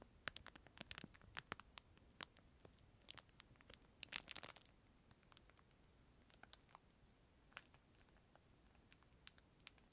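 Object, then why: Plastic film wrapper with plastic spoon. Fingertips tap, rub and crinkle a clear, thin plastic film sleeve wrapped around a disposable plastic spoon, held near and beside the microphone. The result is a quiet string of sharp, bright crackles and clicks over faint hiss, with a denser crinkling burst around the middle before it thins out into scattered ticks.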